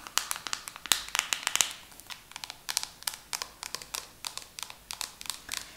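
A hand-sized pink plastic hair mask jar with a black screw lid is tapped and scratched with long nails. Quick, irregular, bright clicks and scrapes with almost no low end, each dying out almost at once, in about 30 sharp taps over six seconds.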